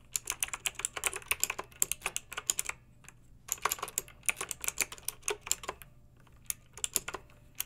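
Long-nailed fingertips type on a backlit plastic mechanical keyboard with round, lettered, metal-rimmed keycaps. Quick runs of bright, crisp clicks and clacks die away almost instantly, with little low-end weight. A brief pause near the middle and sparser strokes toward the end break up the runs.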